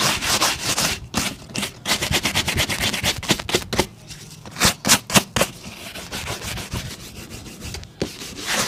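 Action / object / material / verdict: scrape / leather boot and bristle brush / leather / none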